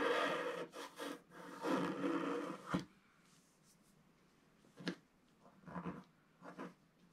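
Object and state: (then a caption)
Scratch art paper page. A wooden stylus scratches wave lines into a solid, flat, black-coated scratch art page about A4 in size. Dense, raspy scratching strokes come in quick bursts for the first few seconds. It then falls to near silence broken by a few short, lighter scratches.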